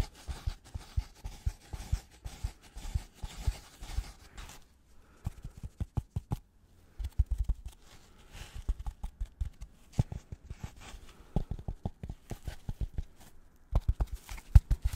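Gloved fingers tap and scratch a white polystyrene foam packaging block with recesses. The result is a long run of quick, dull, low taps mixed with soft scratchy rustling, with a brief quiet gap just before the five-second mark. Each tap stops almost instantly with no ring.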